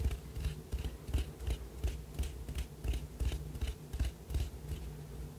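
A small white ribbed ceramic cup, hollow and empty, is held up and tapped and scratched with the fingernails of the other hand. About 13 quick, loosely regular taps come through as short, dull low thumps with faint bright clicks and scratchy ticks, each dying away almost at once.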